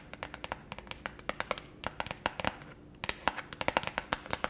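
Long acrylic nails scratch and rub along the edge and faces of a round, thin, solid printed pulpboard beer coaster held in both hands. The result is a quiet, uneven run of sharp, dry clicks and scratchy taps with almost no ring, pausing briefly near the three-second mark before resuming.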